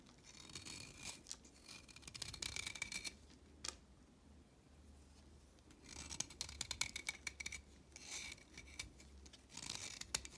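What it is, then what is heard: Chalk stick shaved with a blade. A blade shaves the tip of a solid orange chalk stick to a point, making bursts of dry, bright scraping strokes. The strokes come in clusters, with a quiet gap in the middle broken by a single sharp tick, and a faint low hum underneath throughout.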